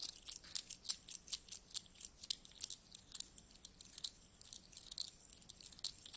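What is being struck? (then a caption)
Handful of small metal coins. Handfuls of small solid metal coins are scooped from a pile and rubbed between the fingers of both hands. A quiet, steady run of bright, crisp clinks and jingles with almost no low end, each contact dying away almost at once.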